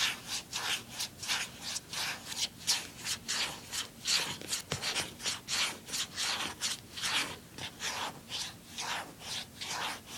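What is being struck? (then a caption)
Plastic handheld game console. Fingers rub back and forth across the lid of a closed, small, hollow blue plastic handheld game console. The result is a steady series of bright, hissing scratchy strokes.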